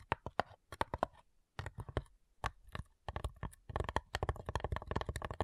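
Long nails tap rapidly on the lid of a flat, light, hollow wooden cigar box. The result is a string of short, dry, hollow knocks with a woody low thump and no ringing. After a brief pause, the taps get denser and louder toward the end.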